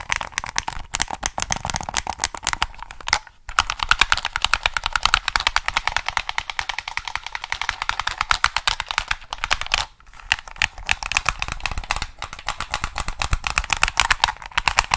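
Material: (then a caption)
Plastic. Fingertips rapidly tap and click the triggers and buttons of a hollow black plastic PS3 controller. A dense stream of short, bright plastic clicks with little low end runs throughout, each dying away almost instantly. Brief pauses fall near 3 and 10 seconds.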